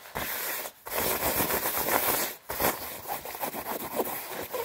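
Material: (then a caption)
Nylon. Red-nailed fingertips rub and scratch fast across the chest panels of a worn white quilted nylon down jacket, padded. A dense, papery swishing scratch with bright hiss fills the sound, broken by two brief pauses before the rubbing resumes.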